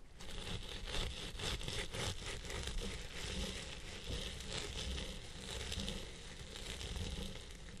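A round pink plastic-bristle brush with a zebra-print handle scratches and rubs the crown of a long purple synthetic-fibre wig. The result is a steady, dense scratching and crackling rustle with a heavy low rumble underneath and bright bristly texture on top.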